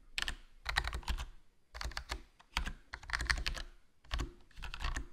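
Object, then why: Plastic membrane keyboard. Fingertips type continuously on a HyperX Alloy Core RGB plastic membrane gaming keyboard with a foam mod, black plastic body, black plastic keycaps and a hollow case. Quick runs of soft, muted key taps come in bursts separated by brief pauses, with a low, thuddy body and a bright clack on top. Each keystroke dies away almost at once.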